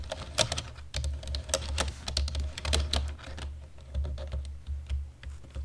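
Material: Plastic.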